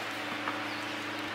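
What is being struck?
Nothing is struck.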